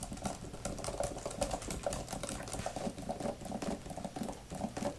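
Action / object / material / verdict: tap / thin plastic keyboard cover / plastic / none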